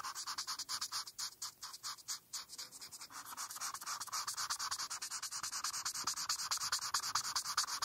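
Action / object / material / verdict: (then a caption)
scrape / felt-tip marker on a paper sheet / paper / none. A hand with long painted nails rubs a felt-tip marker back and forth over a flat printed paper coloring page on a dark surface while coloring the rainbow. It makes rapid, bright, scratchy strokes with almost no low end, each stroke short and dry. The strokes grow slightly louder and steadier toward the end.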